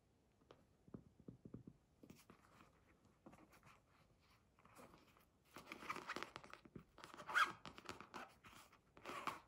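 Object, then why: Zippered polyester fabric pencil case. A small, closed, red zippered polyester fabric pencil case with a round basketball patch on the front is held in both hands and tapped and scratched with long fingernails and fingertips. Soft, dry taps come first, separated by quiet gaps. Denser, brighter scratching and rustling bursts follow over the second half.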